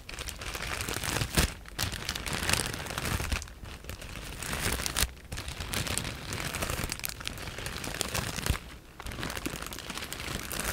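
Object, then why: Plastic bag filled with foam cushioning pieces. A clear plastic bag full of white foam cushioning pieces is squeezed and scratched with long nails. The result is a dense, continuous crinkling and crunching with bright, rustling texture and short pauses between bursts.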